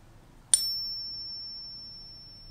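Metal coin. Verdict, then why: Fake. A fake silver coin centered in a Pocket Pinger is flicked once, giving a sharp, high-pitched metallic ping. A thin, steady tone lingers faintly for about two seconds before fading, identifying the coin as fake.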